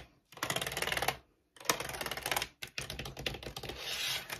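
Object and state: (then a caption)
Plastic computer keyboard. Fingertips and long nails type quickly on the keys of a white plastic wired keyboard resting on a wooden table. Three dense bursts of rapid, bright clicking and clacking are heard, separated by brief pauses, with the last burst taking on a scratchier, rubbing texture.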